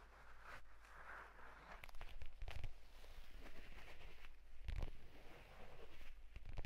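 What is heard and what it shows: A purple leather folio tablet case is handled and then laid flat while fingertips tap and scratch its leather cover. The result is quiet, soft scratching with short, dull taps and bumps that die away almost at once, carried mostly by a low rumble.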